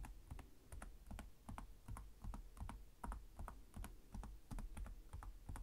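One hand types with its fingertips on the plastic chiclet keys of a black laptop with a hollow chassis, tapping at a slow pace. The result is a quiet, irregular run of short, dry key clicks, each with a soft low thump and a bright tick that dies away almost at once.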